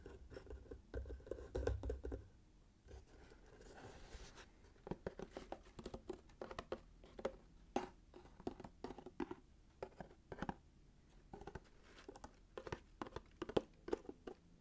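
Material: Cardboard.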